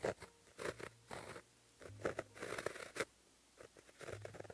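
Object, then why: Gel pen on a paper sheet. A white gel pen held in the fingertips writes Korean letters on a flat sheet of black lined paper. Its tip scratches across the paper surface in short, dry bursts of strokes with brief pauses between them. The strokes have a mid-range scrape and a faint bright hiss.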